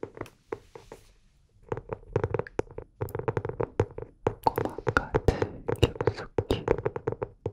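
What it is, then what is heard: Hardcover notebook, tapped. Fingertips and nails tap and scratch the cover of a medium-sized, closed, solid teal hardcover notebook held upright in both hands near the microphone. Short, dry taps with a dull low-mid thud come in quick bursts, pausing briefly after the first second before returning as a dense, uneven run of rapid taps with faint scratchy brushing between them.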